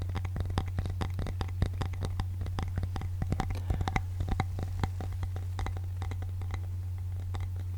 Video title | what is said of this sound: ASMR Tapping - You Will Fall Asleep Quick 😴 | wood tapping can be um relaxing. I wish you guys could feel it, too. It's very smooth.